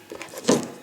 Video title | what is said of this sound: Winter 2014 EDC and Channel Update | Still sounds like plastic to me